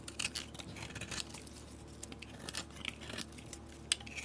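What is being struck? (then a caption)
Painted soap bar shaved with a metal blade. A solid peach soap bar with a blue painted shell is held in the hand and shaved with a metal blade, thin curls falling off. Quiet, bright scraping and crisp clicking strokes come in quick bursts over a low steady hum.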